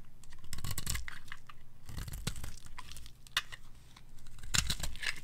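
A red-pink solid bar of dry soap, held in a hand with long gold nails, is scraped and carved with a metal blade as pink shavings pile up. Crisp, dry scraping and crunching strokes come in quick, uneven bursts with bright crackling edges over a low, dull undertone. Each stroke stops short with almost no ring.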